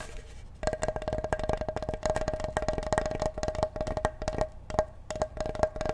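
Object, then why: Large flat wooden cutting board. Fingertips tap and drum on the face of a large, flat, solid wooden cutting board held behind the microphone. After a brief quiet start comes a quick, irregular run of short, dry, knocking taps with a hollow woody tone near 625 Hz. Each tap dies away almost at once.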